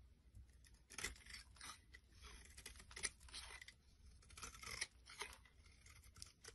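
A solid purple oval bar of soap, held in the palm, has its surface scraped and shaved with a metal blade. Quiet, bright, crisp rasps and crunchy scrapes come in irregular strokes, with a few sharper peaks, over a low background rumble.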